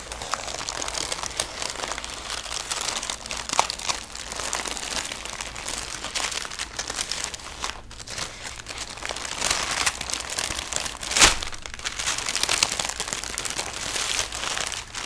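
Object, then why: Thin tissue paper. Thin red tissue paper is unfolded and smoothed flat by fingertips with painted nails. A steady, bright crinkling and rubbing continues throughout, with one sharper, louder crackle near the end.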